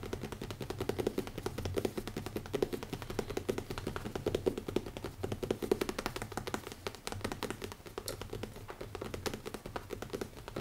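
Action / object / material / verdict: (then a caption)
tap / leather-covered hardcover notebook / leather / none. Fingertips from several fingers tap rapidly on the cover of a small, closed black leather-covered hardcover notebook with an elastic band, resting on a wooden table. The result is a dense, steady stream of soft, dull taps with a muted low-mid body around 395 Hz, barely any bright content, and almost no ring after each hit.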